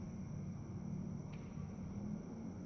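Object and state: Nothing is struck.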